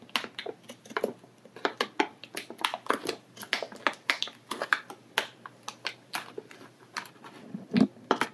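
Bare fingertips pinch and rub the loose edge of a clear, thin plastic bag full of kinetic sand lying on a table. The result is a run of quick, dry, irregular crinkles with bright, crackly highs, each dying away almost instantly over a faint low hum.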